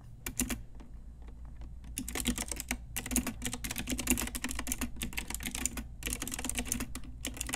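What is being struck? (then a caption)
Plastic mechanical keyboard with round keycaps. Long nails and fingertips tap keys on a full-size pink Ajazz retro typewriter-style mechanical keyboard with round plastic keycaps and a hollow plastic case. It makes rapid, bright plastic clacks in dense bursts, with a brief sparse stretch near the start and a short pause near the six-second mark, over a steady low hum.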